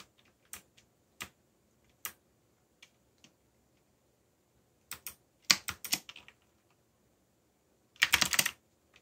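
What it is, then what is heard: Plastic mechanical keyboard. Fingertips type sparsely on a backlit mechanical computer keyboard with plastic keycaps. Single bright, short key clicks are separated by pauses, then a quick cluster of keystrokes comes midway and a fast, louder flurry near the end. The clicks are crisp and high with almost no low end, and each dies away almost instantly.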